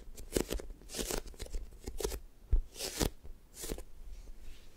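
Long nails and fingertips squeeze, press and tap a light-blue sticky foam toast squishy toy made of soft solid foam. Irregular bursts of sticky, crackling rustle are heard with soft low thumps, each dying away quickly in a quiet, close setting.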